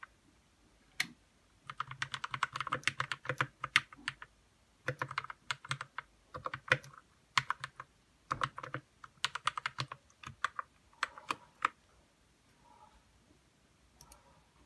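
Fingertips type on a white RK61 60% mechanical keyboard with plastic keycaps, lubed red switches and a hollow plastic case. The sound is bursts of quick, bright, short clacks separated by brief pauses, ending with a few softer, duller taps.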